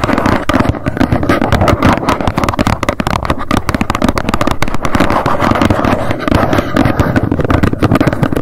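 Long nails tap rapidly on the front of a small, hollow white cardboard box standing upright. The result is a dense, continuous stream of quick clicks with a hollow, boxy low-mid body and little high brightness.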